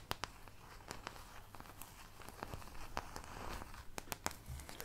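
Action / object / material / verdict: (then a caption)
scrape / thin plastic paint palette / plastic / none. Long nails scratch across the molded wells of a thin, empty white plastic paint palette held close to the mic. Soft, dry scraping and crinkly crackling run throughout, broken by sharp, bright clicks with almost no ring. The overall sound is quiet and close.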